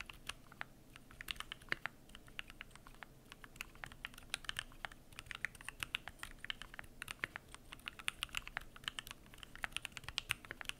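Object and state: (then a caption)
Mechanical keyboard with PBT keycaps. Fingertips type continuously on the PBT plastic keycaps of a Keychron Q1 aluminum mechanical keyboard. The result is a steady stream of quick, bright clicks that die away almost instantly over a quiet background.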